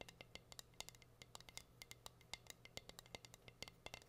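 Long green nails tap and scratch the surface of a plain, solid, flat wooden heart-shaped cutting board with a hang hole, held upright. A quick, uneven run of dry, bright clicks and light scrapes sounds, each dying away almost instantly, over a faint low steady hum. The taps are quiet and crisp, with a sharp tone centred near 2.1 kHz.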